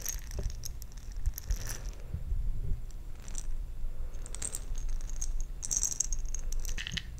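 A glass jar holding plastic perler beads is handled and shaken. The beads rattle and clink against the glass in bright, scattered bursts over a low, steady rumble.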